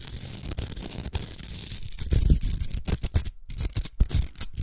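A large hollow pink plastic hair roller with a velcro surface is scratched with long acrylic nails along the velcro. It makes a dry, rasping crackle of quick scrapes with a low hollow body and a bright, hissy top. The strokes grow louder and choppier toward the end, broken by a brief silent pause.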